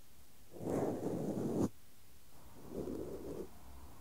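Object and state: Nothing is struck.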